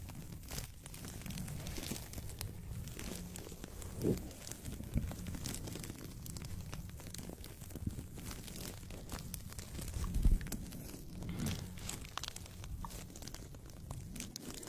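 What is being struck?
Thin paper sheet.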